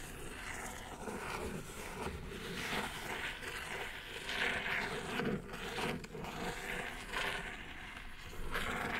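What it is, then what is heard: Cardboard mailer box scratched with a nail. A single long fingernail scratches along the top edge of a hollow brown kraft cardboard mailer box. The result is a continuous dry, rasping scrape with a bright, papery texture that swells and fades over about nine seconds.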